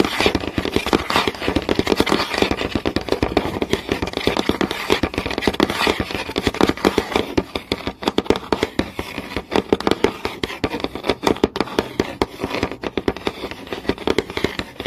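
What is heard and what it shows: Fingernails tap rapidly and scratch across a flat, solid wooden board with visible grain. The sound is a dense, steady stream of short, dry clicks with little ring, centered around a woody mid tone near 410 Hz, mixed with scratchy friction noise.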